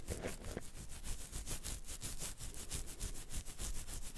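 Fingertips and nails scratch and rub the hair of a full beard at the side of the jaw. The result is a steady run of quick, rhythmic scratchy strokes: bright, hissy rasping bursts over a soft, low rumble.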